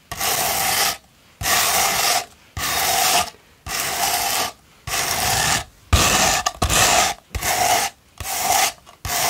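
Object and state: Sandpaper being scratched.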